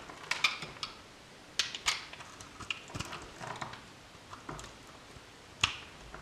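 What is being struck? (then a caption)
Soap bar cut with a metal blade. A metal utility knife blade cuts through the remaining solid blue soap bar held in the hand, with soap chips collecting on the table. It gives a series of short, crisp, bright snaps and scrapes with quiet gaps between them and almost no low end.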